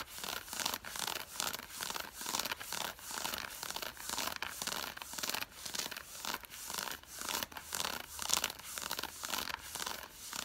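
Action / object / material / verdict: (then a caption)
scrape / cotton fleece sweatpants / cotton fleece / none. Long fingernails scratch back and forth across the thigh fabric of worn grey cotton fleece sweatpants with a side stripe. The result is a steady run of bright, dry, rasping strokes that rise and fall in quick rhythmic bursts, with almost no low end.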